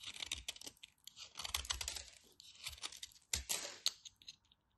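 A knife cuts and scrapes a carved-down piece of solid white bar soap held between fingers with long white nails. The result is a dry, crisp run of crunchy scraping and quick bright ticks, with a few sharper cuts near the end before it trails off quietly.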